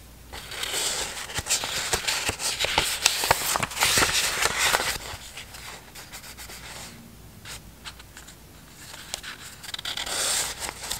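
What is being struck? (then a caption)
Stack of thin printed paper sheets. A hand-sized stack of thin, printed Harry Potter–themed scrapbook paper is held in both hands while the sheets are flipped and rubbed against each other with fingertips and long nails. The result is a bright, crackly rubbing and sliding paper sound with quick scratchy flicks, loudest in the first half, softer in the middle and swelling again near the end.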